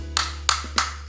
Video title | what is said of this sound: 5 cara membedakan charger iphone ori dan kw, Oem - cas Ibox | ketika kita ketuk suaranya akan rapet ya dan Ia memang ini kualitasnya si plastik keras ya Jadi kita ketuk itu kok nggak kopong